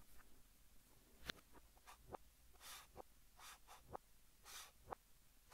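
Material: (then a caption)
Chalk. Fingertips hold a blue chalk stick and write Korean text on a large, flat green chalkboard, scratching it across the board. The quiet clip has four sharp, clicky taps of chalk against the board, mixed with short, bright, hissy scrapes of chalk strokes.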